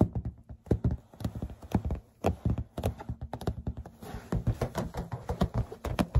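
An inflated green latex balloon, hollow and air-filled, is held in the hand and tapped with long red-painted fingernails. The result is a rapid, irregular series of short, dull, low-pitched thumps that die away almost instantly.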